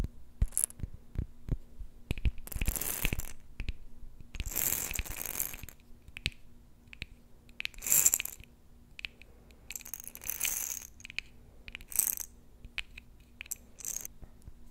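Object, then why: Small glass jar with metal lid, filled with beads. A small glass jar with a metal lid, filled with small glittery beads, is held in both hands and tapped with long nails on the glass and the lid. Sharp, quick clicks are scattered throughout, broken up by several longer bright, hissing rattles of the beads inside. A faint steady low hum runs underneath.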